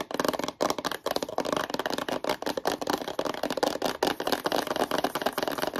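A long, hollow, rectangular white cardboard product box for a watch is held upright in both hands and tapped and scratched with long yellow-painted nails. The result is a fast, chaotic stream of dry, hollow taps and papery scratches. Each hit dies away almost at once, and the sound sits mostly in the low-mid range with a little brightness.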